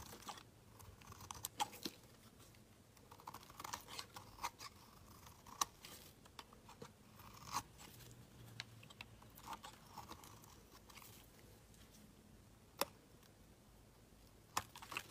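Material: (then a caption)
Soap. A metal utility knife blade shaves long strips off a solid, palm-sized green bar of soap held in the hand. Quiet, dry scraping and crunchy carving continue throughout, broken by many sharp, bright clicks and snaps that fade almost instantly.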